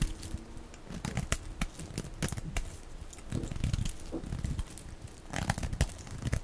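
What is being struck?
Bar of soap.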